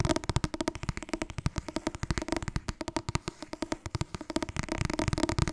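Fast tapping on the softcover book 'Het Wasbord dieet' makes a rapid, steady run of about forty short, dull taps over several seconds. Each tap stops almost at once, with a low, papery thump centered around 330 Hz and little high brightness.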